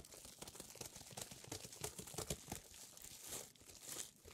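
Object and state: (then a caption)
Plastic bubble wrap package. A book-sized item wrapped in clear plastic bubble wrap is held in both hands and scratched and squeezed with long nails. It makes quiet, dense, bright crinkling and crackling, with sharper snaps near the middle and broader rustling swells toward the end.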